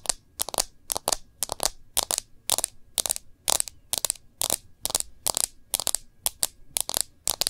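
Long nails tap rapidly on the back of a smartphone in a clear plastic case. The taps fall in quick, dry clusters, mostly pairs, with bright clicky highs, little low end and almost no ring after each tap.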